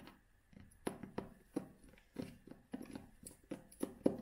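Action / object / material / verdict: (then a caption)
tap / cloth-covered hardcover book / cloth, board / none. A vintage cloth-covered hardcover book, held in both hands, has its cover tapped and scratched with long fingernails. A quiet series of soft, dull taps with a muffled low-mid body and almost no ring is heard, interspersed with faint scratchy brushing.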